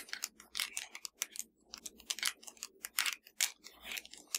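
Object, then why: Plastic TV remote control. Long dark nails of both hands tap rapidly on a slim, hollow black plastic Fire TV remote control lying flat. The taps are quiet, dry and bright clicks with almost no low end, centered around 2.2 kHz, each dying out almost instantly in an uneven, clattering rhythm.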